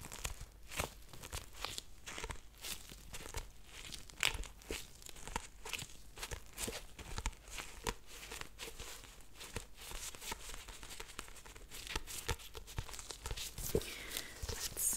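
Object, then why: Paperback book with paper sticky tabs. A black paperback book with yellow paper sticky tabs along its top edge is held and rubbed by nitrile-gloved fingers. The result is a dense, continuous stream of soft crinkling, scratchy rustles and quick papery ticks, bright and crisp with a low, muffled body beneath. It stays fairly quiet and even throughout, with a few sharper crackles standing out.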